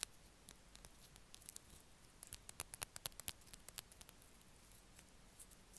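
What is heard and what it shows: A small blue Extra chewing gum pack, a paper or cardboard box, is held in the fingers and tapped and scratched with the nails. Quick, bright, dry clicks and ticks come in clusters over a faint hiss, with no ring after each tap.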